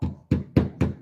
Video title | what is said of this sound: Hands-On DIY Solar Panel Course with Solar Wholesale! *EXCLUSIVE EVENT DISCOUNTS* | it's just Hollow right same thing you do on the sheetrock you just knock on it right you can hear the hollow